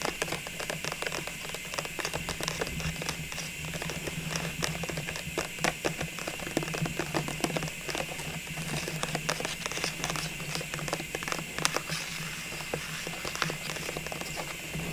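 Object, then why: Plastic tube filled with small ornaments. Fingertips and long nails tap and scratch the sides and label of a clear plastic tube full of small Christmas ornaments. The result is a quick, steady run of light, dry clicks and bright scratchy rasps over a faint low hum, with each tap dying away almost instantly.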